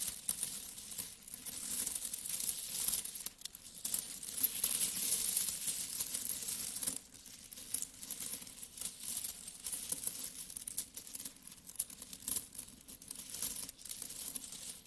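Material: Metal.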